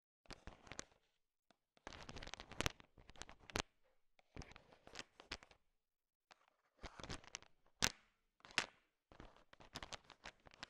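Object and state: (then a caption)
Candy-coated peanut chocolates. A thin wooden stick stirs and taps a bowl heaped with small, hard, sugar-shelled peanut M&Ms, mixing them. Bursts of bright, crisp clicking and rattling come in clusters separated by short pauses, with sharp taps standing out above the shuffling candy.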